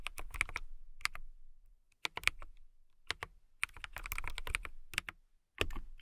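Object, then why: Acrylic mechanical keyboard. Long nails and fingertips type on a compact, transparent acrylic mechanical keyboard with clear plastic keycaps and a clear case. Quick, bright clicking taps come in uneven bursts with short pauses, each keystroke sharp and dry with a soft low thud beneath and almost no ring.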